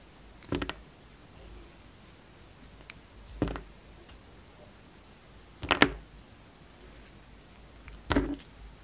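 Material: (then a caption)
Soap. A utility knife blade shaves and scrapes slices off a hand-held, solid green and white striped soap bar with a red-gold strip around it. Four short, crisp, bright scraping cuts are heard, separated by quiet pauses, each ending in a dry, brief rasp with no ring.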